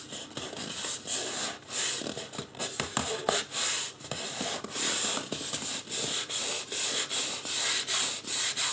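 Fingertips rub and massage the scalp area of a life-size white polystyrene foam mannequin head, making bright, hissy scratching and squeaky rubbing strokes. The strokes come in steady, repeated swells with short pauses between them, and there is almost no low end.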